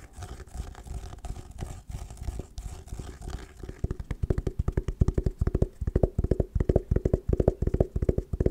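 Long nails scratch and then tap rapidly on an oval, hollow hard sunglasses case covered in patterned woven fabric. Soft, muffled rustling scratches come first, then give way to a fast run of sharp, dull, hollow-sounding taps that are low-pitched with short decay.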